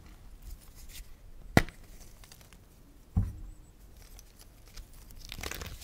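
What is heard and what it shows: Bare hands squeeze and crush pale yellow, lemon-tinted gym chalk blocks over a pile of chunks and powder on a dark plastic tray, crumbling the pieces between fingers and palms. Two sharp, dry snaps stand out as solid pieces break, each followed by a low, gritty crumbling. A soft, bright rustle of powder builds toward the end.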